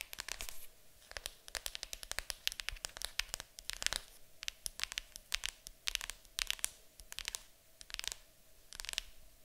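Long acrylic nails tap and scratch the top of a large, hollow printed cardboard board game box lid marked "Fantasy." Quick, bright clicks and scratchy bursts come in clusters with short pauses between them. Almost no low end comes through.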